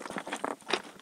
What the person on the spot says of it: Listen to this stuff. Really glassy sounding.